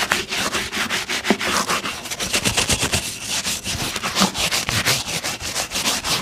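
A wooden-backed bristle brush rubs rapidly back and forth across the toe and vamp of a brown leather lace-up boot worn on a foot, while the other hand holds the boot steady. The result is a fast run of dry, bright scrubbing swishes with short gaps, each stroke starting sharply and fading almost at once.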